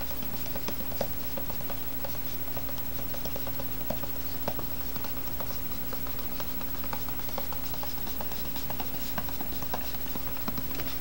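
A small, hollow, rectangular white cardboard box with a lid is held in the hands and turned while fingertips and nails tap and scratch it. Quiet, irregular light taps and dry scratchy clicks patter over a steady low hum throughout.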